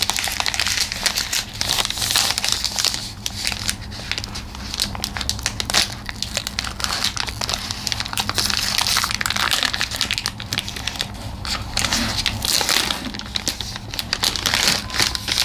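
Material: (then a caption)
Plastic, foil. Both hands hold a hand-sized Aero chocolate bar, with the bar still inside its green printed plastic film wrapper and silver foil inner layer. The wrapper is torn open at the end, then the fingertips crinkle and peel back the film and foil. The result is dense, bright crinkling and crackling that continues throughout, with a faint steady low hum underneath.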